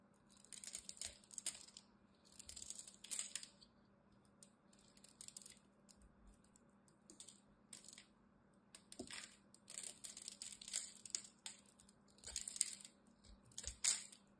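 A solid green rectangular bar of soap with a cross-hatched surface is held in the hand and scraped and carved with a utility knife blade, breaking off flakes. Short bursts of crisp, bright scraping and crackling come in irregular clusters, separated by quiet pauses over a faint steady low hum.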